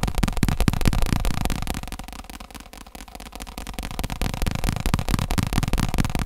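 Fingertips and nails tap fast on the top and rim of a round, padded, black fake leather stool seat while it is tilted. The result is a rapid, dense stream of dull, low thuds with little ring. The tapping softens in the middle before building back up.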